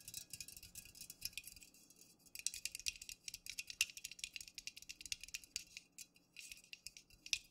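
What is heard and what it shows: Fingernails tap quickly around the top and sides of an unopened, full Pepsi aluminum can standing upright. The result is a rapid, dense patter of bright, sharp clicks with almost no ring and a faint, steady low hum beneath, pausing briefly near the middle.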